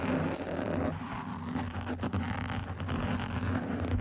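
Long acrylic nails scratch and tap across the top and sides of a soft, porous black foam microphone windscreen. The result is a dense, continuous scratchy rustle over a deep low rumble, holding a fairly steady level with a brief dip near the two-second mark.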